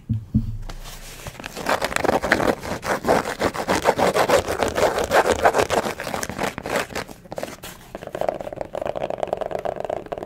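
Fingertips and nails tap and scratch over the canvas upper of a single hand-sized lavender low-top sneaker with white laces and a white rubber sole, held up close while hollow and empty. Dense, dry, rapid scratching and tapping fills the clip at an uneven pace after a couple of soft opening knocks. The shoe is then turned so the nails scrape along the rubber sole and tread, giving a steadier, smoother rasp at the end.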